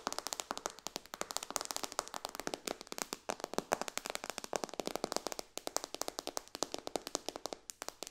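Long dark fingernails tap quickly across the glass touchscreen of a white iPad lying flat in its case. Around 65 sharp, dry clicks follow one another in a rapid, steady patter, each bright and clicky with almost no low end, and every tap stops dead with no ring.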